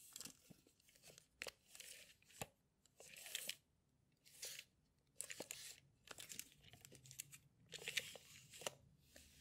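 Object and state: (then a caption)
Metal tape measure being pulled out and retracted. A yellow steel tape measure in a plastic case has its blade pulled out and retracted by hand while fingers handle the case. Bright, rasping bursts of the sliding blade alternate with sharp clicks and snaps, separated by brief quiet gaps.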